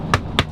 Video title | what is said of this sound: Ford Bronco Review! The True Jeep Killer | it sounds like plastic it's plastic but it's textured